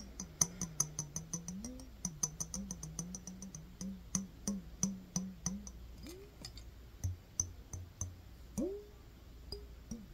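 A clear glass mason jar with a metal lid is held sideways in one hand and tapped with the fingertips and nails. The result is a quiet, quick run of sharp clicking taps, each with a brief high, glassy ping that dies almost at once. A low, wavering tone hums underneath.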